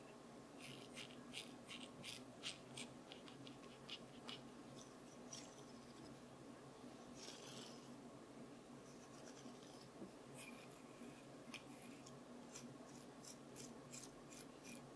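A wooden comb is tapped lightly and irregularly, making quiet, bright clicking taps with a scratchy texture over a soft background hiss. Some taps come in quick clusters, and a brief rustling stretch follows.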